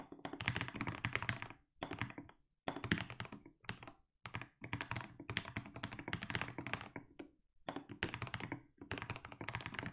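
Steady fingertip typing on a compact mechanical keyboard with SA plastic keycaps produces dense runs of deep, thocky keystrokes with bright clicky edges. The keystrokes come in bursts separated by brief pauses, and each one dies away almost instantly.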